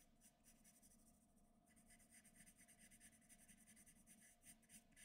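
A black graphite pencil scratches and shades the head area of a figure on flat white drawing paper. Quiet, dry, bright scratching strokes come in a quick rhythmic series over a faint steady low hum, with a brief lull near the start before the shading picks up again.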